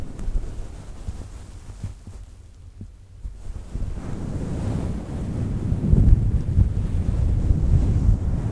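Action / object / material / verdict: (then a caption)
scrape / synthetic fur microphone windscreen / synthetic fur / none. A fluffy faux fur microphone windscreen is cupped and scratched with long nails, with some handling thumps. The result is a dense, muffled, low rumbling rustle with almost nothing bright. It dips quieter for a moment before swelling louder and fuller toward the end.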